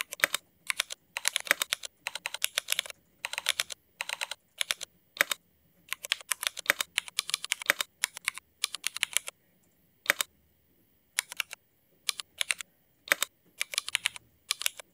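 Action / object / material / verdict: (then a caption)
tap / mechanical keyboard with ABS plastic keycaps / ABS plastic / none. Fingertips of both hands type fast on a backlit Cherry MX mechanical keyboard fitted with black ABS plastic keycaps. Sharp, bright plastic clacks come in rapid bursts separated by brief pauses. Each keystroke stops almost instantly, with no low-end thump.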